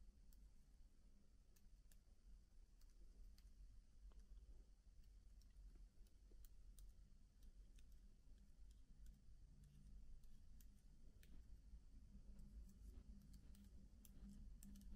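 One fingertip slowly presses single plastic keycaps on a MacBook keyboard, each key giving a short, dry, bright click. The clicks fall irregularly over a steady low hum that stays quiet throughout.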